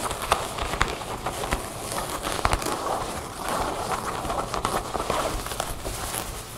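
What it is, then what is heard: Denim jeans. Long painted fingernails scratch and tap across a folded pair of light-blue ripped cotton denim jeans lying flat on a wooden table, using both hands. The result is a steady, soft, scratchy fabric rustle around 1 kHz with a bright hiss, punctuated by sharp, short taps that die away almost instantly.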